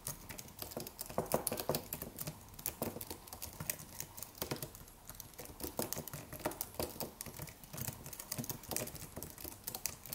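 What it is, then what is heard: Aluminium and plastic wireless keyboard. Fingertips of both hands type rapidly on the white plastic keys of a slim white Apple-style wireless keyboard with an aluminium body. A steady, quiet stream of short, dry clicks and taps is heard, each dying out almost instantly, with a bright clatter and occasional slightly louder keystrokes.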